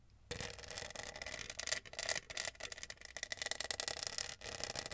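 A pink, hollow plastic studded tumbler held upright is scratched and rubbed over its textured studs with long nails. The result is a steady, bright, dense scratching rasp with rapid clicky ticks, mostly high-pitched with little low end, and a brief dip in the scraping near the end.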